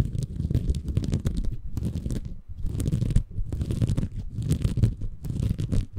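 A small, soft, compressible green porous bamboo fiber sponge is held in both hands above a Tascam recorder while fingertips scratch and squeeze it. The result is a dense, low, muffled crackling and rustling in bursts, with brief pauses between handfuls and faint bright scratchy edges.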